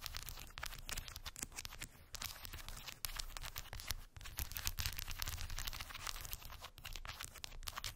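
Long white acrylic nails tap and scratch over round wooden beads packed densely on a small, solid, rectangular cork board. A dense, continuous stream of quick, dry clicks and bright scratchy rasps runs the whole time over a low, rumbling undertone. The level stays steady apart from brief dips around 2, 3 and 4 seconds.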